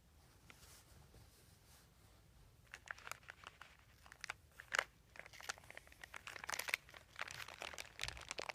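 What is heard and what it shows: Fingertips press and crinkle a large, thin white plastic sheet or bag with a dotted embossed texture, lying flat on carpet. After nearly three quiet seconds, dense bright crackles and sharp crinkling bursts begin and continue irregularly to the end, with a few louder snaps along the way.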